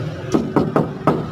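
The steel rear body panel of a 1994 Suzuki Katana DX is knocked four times, each tap giving a short, clear ring with a pitch around 220 Hz. The panel rings because it has no filler, which is normal.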